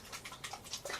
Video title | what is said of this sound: THE ORDINARY COVERAGE FOUNDATION FIRST IMPRESSIONS AND REVIEW | when I shake it this is a serum foundation you can hear it's super liquidy